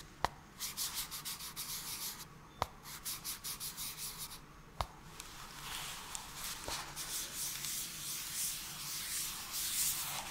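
A gloved hand scratches and rubs a small, hollow, yellow-white cardboard camera adapter box with its fingertips close to the microphone. It makes bright, dry scratching strokes in quick rhythmic bursts, broken by four sharp, short clicks, and the rubbing grows denser and louder toward the end.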